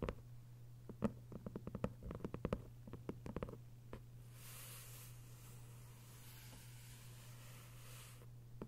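Long pale acrylic nails tap and scratch the paper dust jacket on the front cover of a closed, thick hardcover book (1Q84 Book 2) lying flat on a fabric surface, with flat palms resting on it at times. A quick, irregular run of sharp, dry taps fills the first four seconds, then gives way to a soft, airy scratching hiss. A steady low hum runs underneath throughout.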